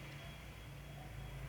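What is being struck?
Nothing is struck.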